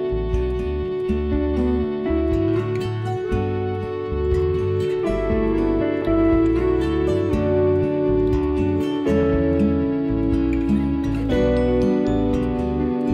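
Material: Nothing is struck.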